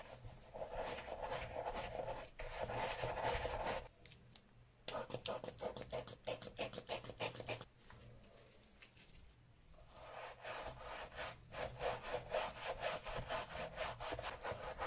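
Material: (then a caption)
Leather. A bristle brush in a gloved hand scrubs the foam-covered leather lining and embossed-logo leather insole inside an empty, brown leather Sperry Top-Sider boat shoe. Rapid, scratchy back-and-forth strokes rasp with a bright, hissy edge and a mid-range tone, pausing briefly near 4 seconds and again around 8 to 10 seconds before resuming.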